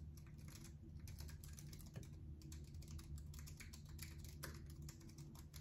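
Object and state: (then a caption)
Plastic computer keyboard being typed on. A slim white-and-silver plastic computer keyboard is held upright in one hand while fingertips press and tap its keys in typing motions. Rapid, soft, bright clicks run throughout over a steady low hum, and the whole clip stays quiet.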